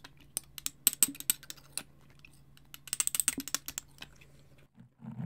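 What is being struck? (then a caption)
Small frosted glass bottle. A small frosted glass bottle with a clear glass top and jute twine is held close to the mic and tapped and scratched with fingernails. Two bursts of quick, bright, dry clicks are separated by a quieter stretch of faint scratching over a low steady hum. At the end, a soft, fuller rustle comes as the bottle moves closer.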